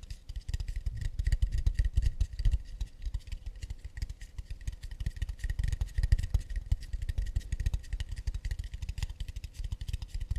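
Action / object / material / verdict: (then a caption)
tap / acacia wood plate / wood / none. Fast, continuous tapping on an acacia wood plate makes a dense stream of dull, low wooden knocks with very short decays. Faint steady tones hum underneath, and bright clicky edges mark each tap.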